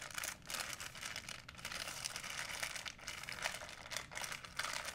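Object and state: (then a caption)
Plastic shopping bag. A white plastic shopping bag, folded into a small bundle, is scrunched between both hands. It gives a dense, bright crinkling crackle with almost no low end, easing briefly several times before picking up again across the five seconds.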